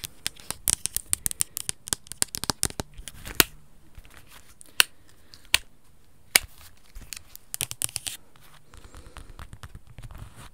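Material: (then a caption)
Plastic. Black plastic over-ear headphones with hollow earcups and headband are held close and tapped and scratched with long red acrylic nails. Quick, bright clicks come in fast clusters, with a few sharper taps standing out between softer scratching and rustling.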